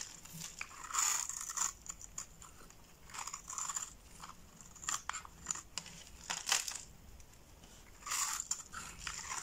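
A utility-knife blade cuts scored cubes into a solid red bar of soap held in the palm and shaves them off. Crisp, bright scraping and crunching comes in bursts, with several louder swells between quieter stretches of soft cutting. There is almost no low end and little ring after each stroke.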